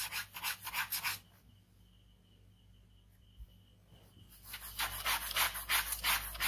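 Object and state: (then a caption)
Ballpoint pen scratching on sketchbook paper. A ballpoint pen scratches fast cross-hatching on a white paper sheet of a sketchbook resting on fabric, producing rapid, rhythmic, bright rasping strokes. The strokes stop for about three seconds of near-silence with a faint steady tone, then resume at the same quick pace.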